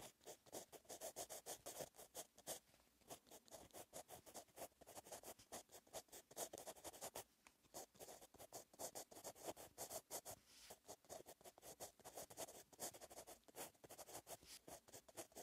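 A metal pen tip writes Korean handwriting across a flat, solid-backed lined paper notebook page. It makes steady, quiet scratching strokes that come in rapid bursts with brief pauses, bright and papery with a faint mid-range body.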